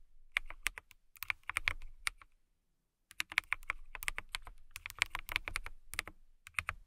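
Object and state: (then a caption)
Acrylic mechanical keyboard being typed on. Long nails and fingertips type on a clear acrylic mechanical keyboard with transparent acrylic body and clear keycaps, producing rapid, sharp, bright clicks and clacks centered near 2.2 kHz with a soft low thud underneath. The bursts of keystrokes pause briefly for just under a second before resuming in quick, dry clusters with almost no ring.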